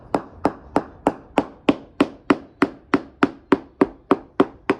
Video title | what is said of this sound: How To Spot A Wet Balsa Core Boat Hull | You notice the real difference in the sound particularly around the outside edges which is where the bullseye crack pattern is and that's where the damage is